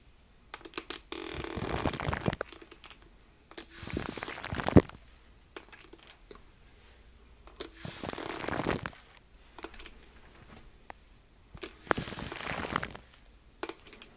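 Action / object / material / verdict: scrape / crinkled aluminum foil / aluminum foil / none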